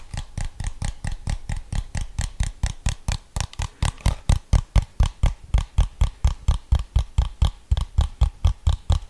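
Fingertips tap the rubber buttons and casing of a handheld plastic TV remote held in one hand, giving about 39 short, dull, low taps in a rapid, steady rhythm. Each tap dies away almost at once.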